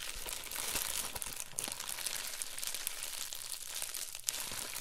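An empty, folded Amazon Prime poly bubble mailer is held and squeezed in both hands while the thumbs rub it. This produces a steady, bright plastic crinkling with dense crackles and small crunches. A cable bag lies still on the table.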